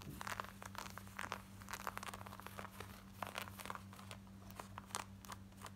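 Long nails scratch quickly across the front, waistband and button area of worn black denim jeans. The result is a rapid series of dry, rasping scratch bursts with bright edges, over a steady low hum.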